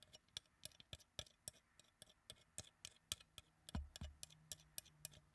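A small translucent pink acrylic hair claw clip shaped like a flower, with hollow petals, is held in both hands and tapped with long dark acrylic nails. About 27 quick, bright, clicky taps come in an uneven rhythm, each dying away almost instantly. A soft low thump sounds partway through, under otherwise quiet tapping.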